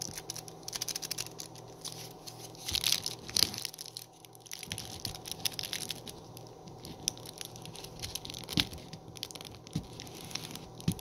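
Fingertips and short nails tap and scratch along the front and edge of a small, flat, printed cardboard sleeve of a Meiji black chocolate bar, held full with the bar inside in one hand. A steady run of crisp, dry ticks and papery scratches, mostly high and bright, with a few louder taps standing out and almost no ring after each.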